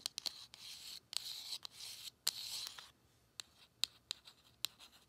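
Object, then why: Small cardboard box. Long acrylic nails scratch and tap along the surface of a small, narrow, hollow printed cardboard Colourpop Lippie Stix box held in the hand. Quiet, bright, hissy scratching strokes alternate with sharp, dry clicks that stop instantly with no ring.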